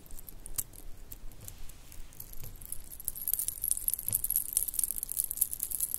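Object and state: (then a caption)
Shell and bead bracelet being jingled. A small stretchy bracelet of pink shell chips, white round beads and silver metal spacers is held in both hands and shaken with long painted nails, jingling the pieces against each other. Bright, quick clicks and tinkles come in irregular bursts over a faint low rumble. The jingling grows denser and louder in the second half.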